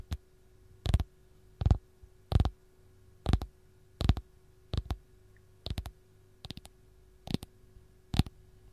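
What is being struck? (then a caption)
Whole lemon tapped by fingernails. Long gold-painted nails tap and scratch the solid, textured peel of a single whole raw fresh lemon. About eleven short, dull tapping bursts, some doubled, come at an uneven pace, mostly low and thumpy with brief bright clicky edges. Each burst dies away almost at once over a faint steady hum.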